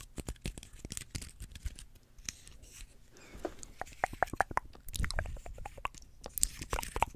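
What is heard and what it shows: Fingernails scratch and pluck the dry scales of a small, open, dry pine cone held close in front of the microphone. The result is a quiet, dense stream of crisp crackles, brittle ticks and short scratchy bursts. Each snap is dry and dies almost instantly, with a bright edge.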